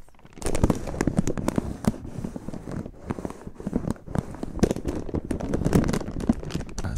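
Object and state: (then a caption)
Crinkling plastic foil chip bag. A medium, sealed yellow "Gourmet Picks" potato chip bag of crinkly plastic/foil film, full of chips, is held in both hands with the fingertips close to the microphone and squeezed, crinkled and shaken. Dense, continuous crackling and crinkling follows for about seven seconds, with many short snaps over a low, full-bodied rustle.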